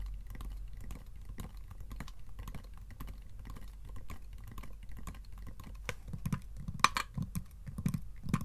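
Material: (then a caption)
Wood. Fingertips and short nails tap the lid panels of a small, closed, hollow wooden treasure-chest box with metal strap bands and a metal handle. The result is a steady patter of soft, quick, dull taps with a low, hollow thud. A few sharper, brighter clicks stand out near the end.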